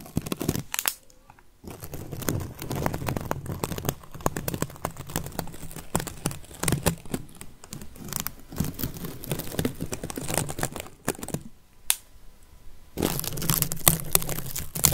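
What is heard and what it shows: A whole, solid yellow onion with dry papery skin is held above a microphone and tapped and scratched with long fingernails. Dense crinkling, crackling scratches and soft low thumps run throughout, with brief quiet gaps near the start and toward the end before a louder final burst.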